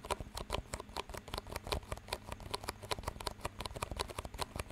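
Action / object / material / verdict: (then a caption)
tap / thin disposable plastic cups / plastic / none. Two identical clear, disposable plastic cups with green rims, hollow and empty, are held one in each hand near the mic while fingertips tap and squeeze them and the rims are knocked together. The result is a rapid, uneven stream of short, dry clicks and crinkly patter with bright, crisp edges and a faint low knock beneath. Each tap dies away almost instantly.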